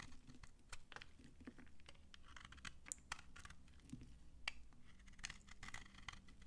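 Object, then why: Soap bar shaved with a knife. A utility knife shaves curls off an old, dry, solid pink soap bar held in the hand. Quick, dry, crunchy scrapes crackle in a rapid uneven series, each bright and brief with almost no ring. A faint low rumble sits underneath.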